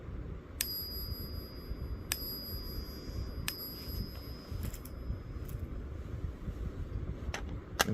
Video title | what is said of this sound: Silver Ping Test Explained 🔔 - How to Tell Real Silver by Sound - Stackers Guide to the Galaxy | the Franklin you'll hear this sounds pretty much the same